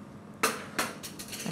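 A spoon cracks the torched, caramelized sugar top of a savory foie gras crème brûlée, giving two sharp, bright crunches followed by lighter crackles and taps. The loud crack shows the crust is crisp and crunchy over a soft interior.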